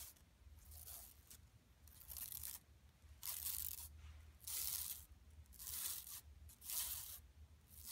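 Long nails scratch a flat, empty yellow woven plastic mesh tote bag lying on carpet, using both hands. The result is a series of bright, crisp, rasping scratch bursts, each about half a second long, with quiet gaps between them over a faint low hum.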